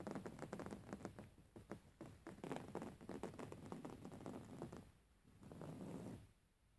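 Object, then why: Soft filled pillow with coarse woven fabric cover. Long fingernails on both hands scratch rapidly across the coarse weave of a soft, filled grey fabric pillow, making quick, dry scratching and tapping strokes. The strokes are muffled and low, then give way briefly to a steadier, softer rubbing before fading to near silence.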